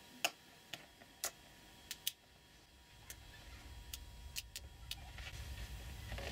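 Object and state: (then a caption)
Small magnetic metal balls snapping together. Fingertips press and snap small, solid, plated neodymium magnetic balls together while assembling them into a hand-sized sphere, producing eleven sharp, bright clicks that die away almost instantly. The clicks are spaced irregularly, with a steady low rumble gradually rising beneath the later ones.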